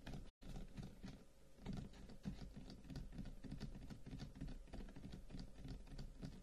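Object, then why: Carved wooden incense box. Both hands tap quickly on the top of a long, hollow, carved wooden incense box with flower-shaped cut-outs lying on a table, using fingertips and short nails. The result is a dense, uneven patter of soft, low, hollow knocks that die away almost at once, with a brief gap of silence near the start.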